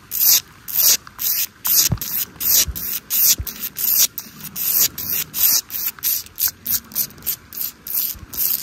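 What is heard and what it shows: Long nails scratch and tap along the bricks and mortar of a red brick wall, which is solid. About twenty short, bright, hissy scraping strokes repeat at an uneven pace, with a few faint low taps underneath.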